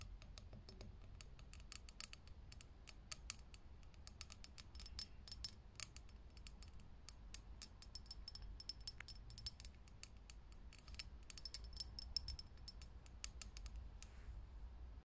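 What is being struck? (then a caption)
Glass filament light bulb. Long nails tap fast on a lit, hollow, clear glass vintage filament light bulb, making a dense run of sharp, bright clicks that stop almost instantly. A steady low hum sits underneath, and the tapping stays quiet and even throughout.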